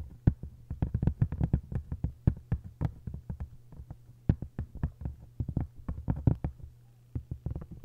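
Long white nails scratch and tap quickly on the textured paper cover of an open hardcover book lying face-down. The many short, dull taps come in uneven bursts, with light scratching between them, over a steady low hum.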